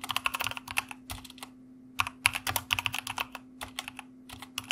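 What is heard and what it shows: Fast fingertip typing with both hands on a white plastic mechanical keyboard produces bursts of crisp, bright key clicks that stop almost instantly. A short pause falls around the middle of the burst, and a faint steady low hum runs underneath throughout.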